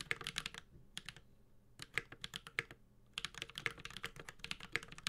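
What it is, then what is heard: Mechanical keyboard being typed on. A Space65 Cybervoyager 65% mechanical keyboard with Holy Panda switches, an aluminum case and plastic keycaps is typed with the fingertips of both hands. Bursts of quick, bright, clacky key taps with a short, sharp attack and almost no ring are separated by brief pauses.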